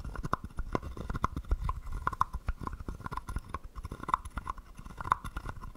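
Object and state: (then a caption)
Wooden frog guiro. A wooden stick taps and scrapes the ridged back of a small hollow carved wooden frog guiro. Quick, dry clicks and knocks follow one another closely, each with a short hollow wooden tone near 1 kHz over soft low thumps. Every hit dies away almost at once.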